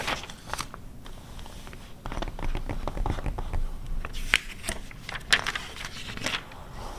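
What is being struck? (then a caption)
Glossy paper magazine pages. Long red acrylic nails scratch and tap the printed pages of an open, glossy 2009 car magazine lying flat on fur, then turn a page. The result is a dense run of dry, crackly scrapes and short, sharp taps with bright, papery crinkles, where a few louder ticks stand out over a soft low rustle.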